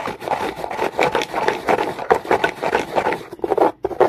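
Comb teeth are raked quickly back and forth over the top of a dark, rough, solid rock. The result is a fast run of dry, scratchy rasping strokes, concentrated in the midrange with very little low end, with a short break near the end before the scraping resumes.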